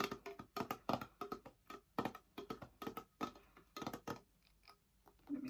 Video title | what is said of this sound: ASMR/ soft spoken tapping and chatting (music, pop culture and some life updates) | It makes some really nice tapping noises.